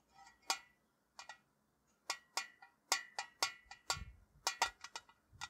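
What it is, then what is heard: Tin tea canister. A tall, hollow printed metal Ceylon tea tin, held upright and then rested against the wall, is tapped with fingertips and nails. Fifteen quick, bright metallic taps ring briefly with a tinny tone around 1.9 kHz, spaced irregularly with short quiet gaps.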